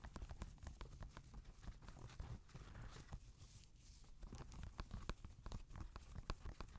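Fingernails tap and scratch the toe and upper of an empty grey Adidas NMD knit-fabric sneaker held on a lap. The result is a quick, irregular series of soft, dull taps over a low rumble, with brief raspy scratching between them.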